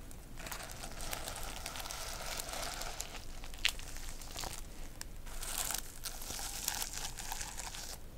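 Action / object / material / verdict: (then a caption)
scrape / plastic sequin notebook cover / plastic / none. A medium flat notebook with a cover of reversible plastic sequins, held upright, is scratched and brushed by long nails. A steady, bright crinkling rasp runs throughout, with a sharp clicking spike near the middle and a low rumble underneath.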